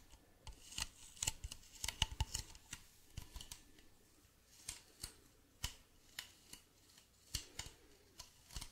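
Fingernails tap and scratch the side of a hollow, medium white plastic bottle with a blue cap, held in both hands. About two dozen sharp, bright clicks and short scratches come at an irregular pace, each dying away almost instantly over a faint low hum. The whole clip stays quiet.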